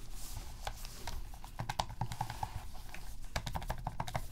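Gloved fingertips repeatedly press and click the plastic buttons and d-pad of a black, hollow plastic PS3 game controller resting on a dark mat. The result is a rapid, irregular run of short, dry clicks with a mid-range tone over a steady low rumble.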